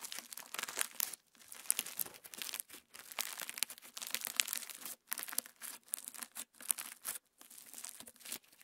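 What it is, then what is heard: Sequin slime. Pink PVA slime packed with plastic star sequins is pinched with the fingertips, then spread flat and stretched on a wooden table. It gives off dense, bright crackling and crinkling in quick bursts, broken by short moments of silence.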